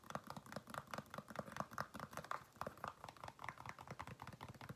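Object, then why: Faux leather flat shoe. Fingernails tap and scratch the upper of a single black, smooth, faux-leather women's flat shoe, held hollow and empty in the hand. A quiet, steady run of quick, dry clicks sounds, each centered around 1 kHz with a soft low thump beneath it and almost no ring. The result is a soft, hollow patter much like light keyboard typing.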